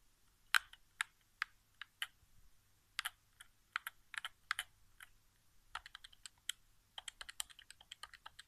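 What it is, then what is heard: Plastic game controller. Fingertips tap the face buttons and touchpad area of a hollow white plastic PS4 game controller resting on carpet. About 27 short, dry, bright plastic clicks come in an irregular, quick rhythm, each dying away instantly with no ring, over near silence.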